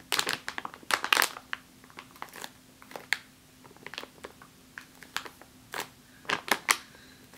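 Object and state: Full plastic bag of flour.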